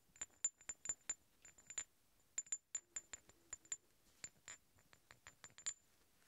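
Two large solid steel threaded hex bolts are held together while their threads rub and clink against each other. About twenty quick, bright metallic clicks and short scrapes come in an uneven rhythm, each with a high ringing tone that dies away almost at once. Between the hits there is near silence.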